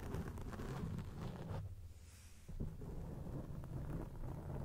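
Long acrylic nails scratch a round grey foam cover on a microphone, making a dense, muffled, low rumbling scrape with a steady crackle. The scratching eases into a quieter lull partway through, then resumes at full strength to the end.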